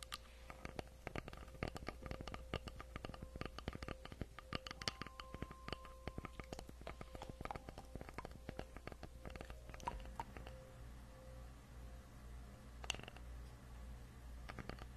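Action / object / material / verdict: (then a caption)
tap / wooden log slice tapped and scratched with fingernails / wood / none. Long acrylic nails scratch and tap a solid round wooden log slice with a bark rim, about 20 cm across, held in both hands close to the microphone. Quick, dry clicks and short scratches with almost no ring patter at a low level over a steady low hum, with a faint thin tone in the first half.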